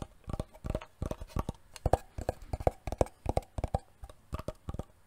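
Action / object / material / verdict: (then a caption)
tap / wooden box / wood / none. A wooden box is tapped repeatedly with quick, irregular taps for ASMR. Each tap is a short, dull, low knock that dies away almost instantly, with no ringing.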